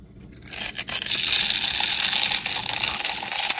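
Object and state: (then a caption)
Bar soap being carved. A solid, hand-sized pink bar of soap with white stripes is held in the hand and scraped and carved with a metal utility blade, with shavings falling off. After a quiet start, a dense, bright, crisp scraping sets in and holds steady with little low end until the end.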